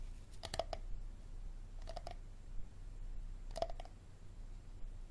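Fingertips and nails tap and scratch the side and ribbed bottom of an empty, hollow, clear plastic Dasani water bottle with a label and green cap, held in both hands over a wooden table. Nine short, dry clicks come in three quick bursts of three, each with a hollow plastic tone around 660 Hz that dies almost at once. A low, steady background hum sits underneath.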